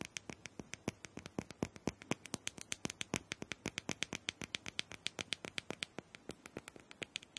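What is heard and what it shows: A small hollow plastic dome massager is held in one hand while fingernails tap and scratch quickly on its smooth plastic top. About 57 sharp, bright clicks follow in a fast, uneven run over seven and a half seconds, each dying away almost at once. Faint scratching fills the gaps between them.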